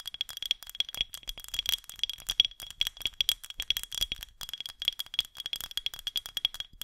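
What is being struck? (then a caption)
Painted glass jar vase with jute band. A medium white painted glass mason-style jar vase with a threaded neck and a jute band, holding artificial flowers, is held in both hands over the mic and tapped and scratched with long green acrylic nails. The result is a dense run of fast, crisp, clicky taps and scratches, almost entirely high and bright with a steady glassy ring near 3.3 kHz. The hollow jar adds a faint resonance, and each hit decays almost instantly.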